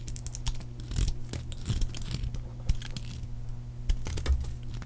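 A solid, palm-sized pink oval bar of dry soap, held in the hand, is cut with a metal blade into crisp chunks and flakes. Dense crackling scrapes and sharp, dry cuts come in rapid succession over a steady low hum. Each crunch is brief, with no ring afterward.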